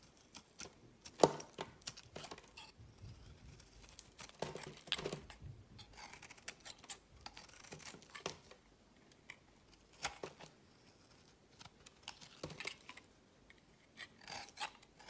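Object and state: Bar soap being shaved.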